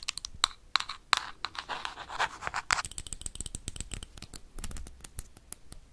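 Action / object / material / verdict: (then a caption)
tap / small glass jar with plastic lid / glass / none. Metal paperclips worn on the fingertips tap and scratch quickly across a small, hollow clear glass jar with a black plastic lid. Sharp, bright clicks with brief glassy rings alternate with a burst of rough, hissy scraping, then dissolve into a rapid patter of light ticking taps.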